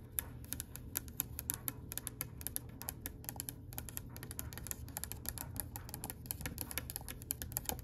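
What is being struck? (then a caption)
Oak wooden tabletop edge. Long pale pink acrylic nails tap quickly along the edge of a solid oak-grain wooden tabletop. The result is a rapid, uneven stream of sharp, dry clicks with bright, high tips that die away almost instantly, over a steady low rumble.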